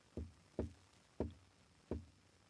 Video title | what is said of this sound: "Retro Chic Meets Sonic Brilliance: The Shure Super 55 Deluxe Unveiled!"#micreview #shure | This thing is like mostly hollow.